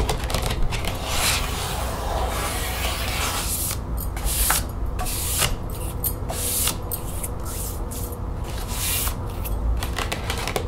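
Long nails scratch and tap the spine and flat plastic panels of an opened green plastic expanding folder resting on a table. Quick, bright taps and rasping scratches come in rapid bursts over a steady low hum.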